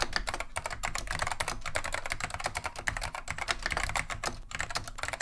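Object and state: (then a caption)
Plastic mechanical keyboard being typed on. Continuous fingertip typing with both hands on a beige plastic vintage Wang 725 mechanical keyboard fitted with Alps SKCM Neon Green/Lime switches. A rapid, steady stream of short, sharp clacks with bright plastic click and little ring, over a faint low rumble.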